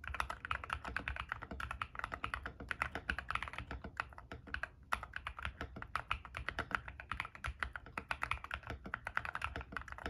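A compact 60% ilovbee i61 mechanical keyboard in a white case, with white and grey PBT plastic keycaps and lubed frankenswitch switches with P3 stems, sits on a desk mat and is typed on fast with bare fingertips, one finger wearing a ring. The result is a continuous stream of rapid, short key clacks with a bright click and a soft low thud under each press, dying away almost instantly between strokes.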